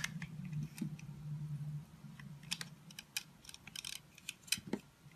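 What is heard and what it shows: A metal utility-knife blade scrapes and cuts small chips from the surface of a hand-sized solid oval confetti soap bar with pink, blue and green flecks, held in the palm. The sound is a run of short, crisp, bright scratching clicks over a low hum, with a smoother low scraping stretch early on, leaving a carved bar.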